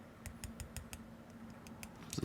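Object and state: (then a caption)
Keyboard stabilizer with slight wire rattle. A screw-in plastic keyboard stabilizer with a metal wire is held down on one side and tapped repeatedly on a flat surface to check the wire for rattle. The result is a series of short, light clicking taps. A slight rattle is heard, a little but not the significant rattle that would mean the wire is unbalanced.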